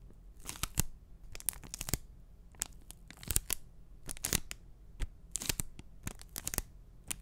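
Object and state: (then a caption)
Enamel pin on cardboard backing card. A small, flat, printed cardboard backing card holding an enamel pin is handled close to the mic, scratched and tapped with short fingernails. Crisp, bright scratching bursts and sharp, dry taps come in irregular clusters, each dying away at once, over a faint low hum.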